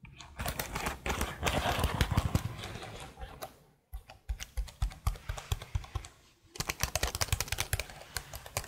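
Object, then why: Plastic laptop keyboard. Long blue nails type and tap on the keys of a detached black plastic laptop keyboard held horizontally in front of a microphone. A dense flurry of quick, irregular clicks runs for the first few seconds before dying away. After a brief silence come sharper, more spaced-out clacks, then another short pause and a final rapid run of bright, dry taps with a soft low thump beneath them.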